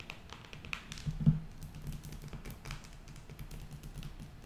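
A closed, square cardboard eyeshadow palette with a printed cover is held in both hands and tapped with long acrylic nails. It makes a quick, steady run of soft, dull taps with short ringing and a low, hollow thud, plus faint bright nail clicks. One tap near the start lands noticeably louder than the rest.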